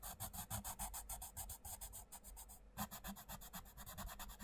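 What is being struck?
Wooden coloured pencil on a paper book page.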